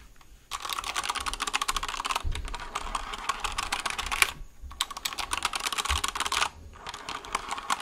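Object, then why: Plastic mechanical keyboard. A white plastic mechanical keyboard, held sideways near the mic, is typed on with fingertips. Bursts of rapid, bright, crisp clacks come in quick succession with short pauses between runs. Each keystroke is sharp and dry with almost no ring.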